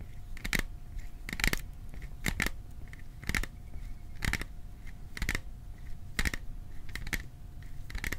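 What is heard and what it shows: A small metal popcorn container is tapped in short, sharp clicks that often come in pairs, about once a second at an uneven pace. Each tap has a bright metallic ring near 2 kHz that dies away almost at once, over a low, steady background rumble and a faint constant tone.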